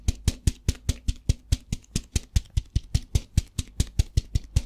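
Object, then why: Plastic tub with rice. A plastic tub filled with rice is tapped with fingertips and shaken, giving a quick, fairly steady run of 24 short, dry taps. Each tap has a deep, muffled thump with a bright, crisp click on top and almost no ring, while the rice adds a faint rustle between hits.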